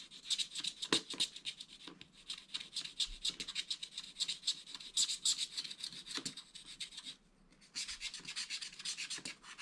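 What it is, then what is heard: Wax-coated scratch art paper being scraped. A wooden stylus scrapes broad areas of the black wax coating off a scratch art page in a spiral pad, revealing green underneath. Quick, bright, raspy scratching strokes come at an uneven, rapid pace, with a brief pause near the end before the scraping resumes.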